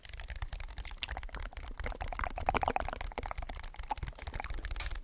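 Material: Aluminium, plastic.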